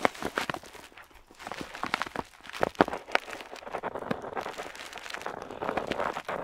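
A metal dip pen nib scratches across a flat paper map sheet while drawing a wavy border. Quiet, dry scratching strokes come in quick, uneven bursts with sharp, bright ticks as the nib catches the paper, ending in a steadier, softer rasp.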